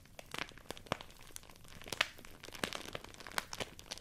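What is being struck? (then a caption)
Thin rice paper sheet. A folded sheet of thin white rice paper is crumpled and rubbed between fingertips with long nails. It makes a quiet, steady stream of bright, dry crinkles and crackles, with sharper crisp snaps standing out at intervals. Each sound cuts off at once with no ring.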